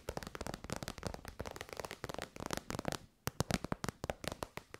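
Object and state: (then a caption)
Faux-leather pouch tapped with fingernails. Long white nails tap quickly on an elongated, shiny pink metallic faux-leather pouch, which is soft and hollow. About 25 short, crisp clicks fall in uneven bursts, with a brief pause near the three-second mark before the tapping resumes.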